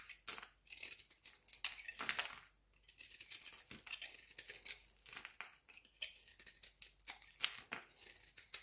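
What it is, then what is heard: Bar soap shaved with a blade. A solid square pale green bar of soap held in the hand is shaved quickly with a utility knife blade. Dry, bright scraping and crisp crackling strokes follow one after another with brief pauses, with nearly all the energy high and almost none in the low end.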